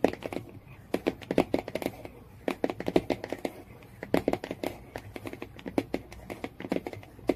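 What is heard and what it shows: Long-nailed fingers scratch and tap the printed cardboard cover of a Jungle Book hardcover lying flat, near the spine. Quick bursts of dry, sharp clicks come in uneven clusters, with a soft scratchy rustle between them and very little ring after each tap.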